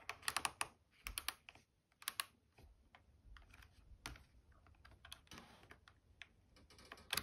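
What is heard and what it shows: Long painted nails tap rapidly on the casing, dial and translucent water tank of a red and white plastic steam iron with a hollow body, standing upright on an ironing board. The result is a quick, bright, dry clicking much like typing, with sharp clustered taps that stop almost instantly and softer taps in between.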